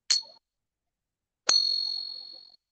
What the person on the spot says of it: It rings out for a long time because the silver resonates.